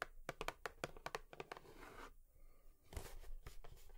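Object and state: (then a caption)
Cardboard tissue box. A cardboard tissue box is tapped with long nails, giving quick, sharp clicking taps with a dry papery knock. A brief soft scratching rustle sits between the bursts of tapping. The taps are quiet and stop almost instantly.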